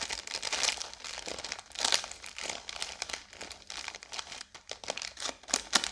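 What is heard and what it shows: A full roll of Oreo biscuits in a blue plastic wrapper is held upright and quickly tapped and scratched with long yellow nails. The wrapper gives a steady stream of bright, dry crinkles and sharp clicks, with a few louder bursts but no low body and almost no ring.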